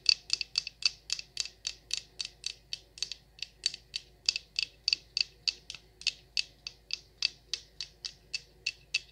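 Long nails tap and scratch the surface of a large, solid orange wax pillar candle with a paper wrap and tag. About 36 quick, bright, crisp ticks repeat in a steady rhythm, each with a light scratchy edge that stops at once, over near silence.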